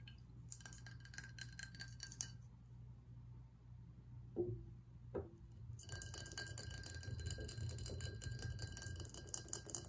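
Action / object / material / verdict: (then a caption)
tap / ribbed glass bottle with liquid / glass / none. A ribbed glass whiskey bottle, partly full of amber liquid, is tilted so the liquid shifts, then set upright on the table and tapped with fingernails. Bright clicking taps and scratches cluster at the start, fall quiet for a moment, and return densely at the end. Two soft thuds mark the middle, over a steady low hum throughout.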